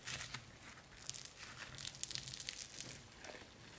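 A palm-sized lump of soft, solid orange foam modelling clay made of tiny polystyrene beads is held in both hands and squeezed, pulled and kneaded with the fingers. It gives quiet, bright crinkling and crunchy crackles: a dense run of sharp, short ticks with very little low end.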